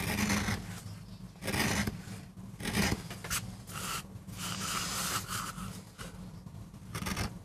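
A metal gouge carves and scrapes fine lines into the surface of a small, flat, solid MDF carving block. Short bursts of bright, gritty scraping rise and fade over a steady low hum, with quick decays between strokes.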